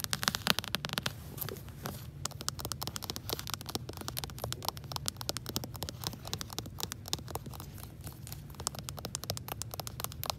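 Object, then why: Hardcover book with plastic protective cover. Long acrylic nails tap and scratch along the top edge and spine of a solid, medium-sized hardcover book with an orange dust jacket under a plastic library protector, held up near a shelf. A dense, steady stream of quick, crisp ticks and crinkly scrapes sounds bright and dry, with a soft low rumble underneath throughout.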